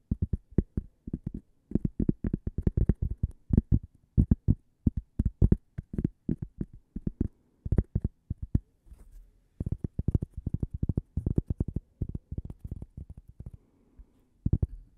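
A thin, flat, solid cork coaster shaped like a slice of toast is held by the microphone and tapped and scratched with fingernails. Quick bursts of dull, low, deep-bodied taps with no ring are broken by short pauses, with softer scratching in the gaps.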